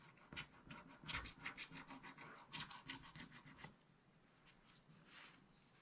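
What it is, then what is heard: Scratch-art paper being scratched. A wooden stylus scratches the coating of a black coated scratch-art paper page in a spiral book while the other hand holds the book. Quick, irregular, bright rasping strokes repeat for about three and a half seconds, then fade to fainter, softer scratching until the end.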